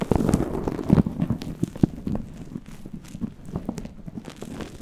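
Fingertips and nails rub and scratch a fluffy faux-fur synthetic windscreen on a microphone, held in both hands. The result is a close, low, muffled rustling and crackling with soft irregular thumps. Louder bursts come near the start and around the one- and two-second marks, then settle into quieter scratching.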